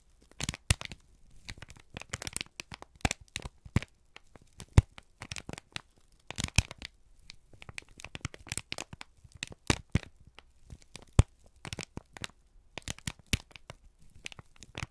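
A single thin, crumpled sheet of brown kraft paper is held in both hands and squeezed and crinkled with the fingertips and thumbs. The result is a steady run of sharp, dry crackles and crinkles. The crackles come in irregular bursts with brief pauses between them, and each one is bright and stops almost instantly.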